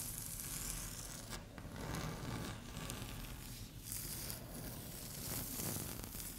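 Long fingernails gently scratch and tap a flat, solid, speckled beige laminate tabletop. The sound is a soft, continuous scraping rustle with bright, hissy, tearing-like texture over a low hum, rising and falling in gentle strokes.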